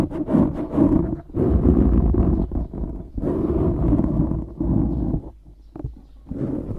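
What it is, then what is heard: Foam microphone windscreen being scratched. Fingertips scratch and squeeze a black foam windscreen on a microphone. The result is a dense, low, rumbling rustle in sustained bursts, with brief quieter gaps near the one-second, three-second and five-and-a-half-second marks.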